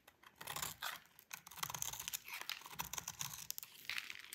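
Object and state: Bar of soap being scraped with a blade.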